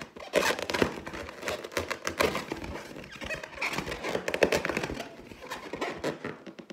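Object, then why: Inflated clear latex balloon. Long teal nails scratch and tap the surface of an inflated clear latex balloon with a gold pineapple print, hollow and air-filled, held in the other hand. The result is a dense run of scratchy, squeaky rubbing and light taps with bright, crinkly edges and little low end.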